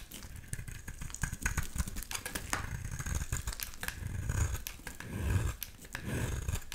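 A small, solid blue palm-sized bar of soap is shaved with a utility knife blade, sending thin curls off the bar. Quick, uneven scraping ticks and soft crackles are heard over a low rumbling swell that rises and falls.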